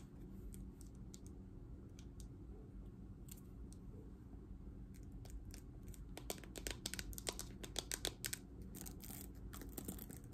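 Long nails tap the hollow back of a green plastic paddle hairbrush and scratch across its bristles, making quiet, sharp clicks and crackly scrapes. The taps start sparse and grow denser and louder in the second half, over a steady low hum.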